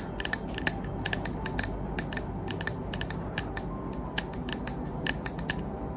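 Long green acrylic nails tap quickly and irregularly on the side of a medium white opaque glass candle jar, filled with solid wax and unlit, held in one hand. Each tap is a sharp, bright click with a brief glassy ring high in pitch that fades almost at once, over a low steady background hum.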